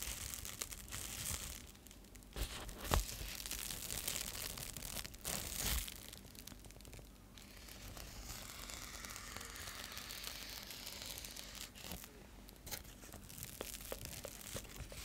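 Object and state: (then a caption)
Foil bubble insulated mailer. A metallic foil bubble insulated mailer is scratched with nails and fingertips, then held up and crinkled. The result is a steady stream of crisp, bright scratching and crackling, with louder crinkly bursts and a faint low hum underneath.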